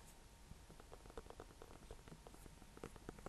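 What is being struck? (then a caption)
Small pumpkin. A small orange-yellow pumpkin, a hollow gourd painted with a red face and topped with a dry leaf, is held up in the hand off the hay and tapped with fingertips and painted nails. A quiet run of quick, soft taps gives short, dull, hollow knocks with a low body and a slight tone near 470 Hz. The taps fade almost at once over a faint background hiss.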